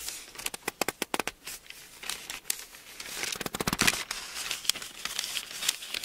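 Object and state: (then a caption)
Thin paper book pages. Fingers pinch and flip the thin paper pages of an open Bible, then a hand rubs a page flat. Quick, bright, crackling snaps of paper come first, followed by a denser, hissy rustle as the page is smoothed down. There is almost no low end.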